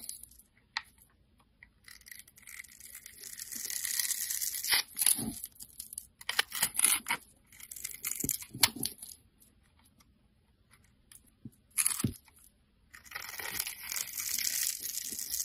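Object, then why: Bar of soap. A solid pink rectangular bar of soap is held in the fingers while a metal blade scores lines into it and scrapes off crumbly shavings. Dry, bright scratching and crackling come in bursts, with quiet gaps and a few sharp clicks between.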